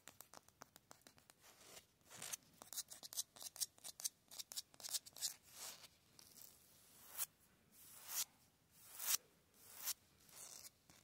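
Fingertips and nails scratch fast and tap on the rough face of a solid grey concrete cinder block wall, and an open hand rubs across the block face. It starts as a rapid run of short, dry, bright scrapes and taps, then slows into fewer, longer rubbing swells, all high and hissy with no low end.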